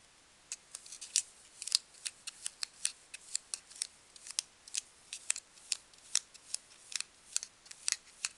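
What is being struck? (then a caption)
Expanded-polystyrene packing peanut. A single small, solid, white-green expanded-polystyrene packing peanut is held in both hands and squeezed and twisted between the fingertips and long nails. Around 26 short, bright, dry squeaks and crackles come at irregular intervals over about eight seconds, with no low end and no ring after each one. Quiet gaps separate the squeaks.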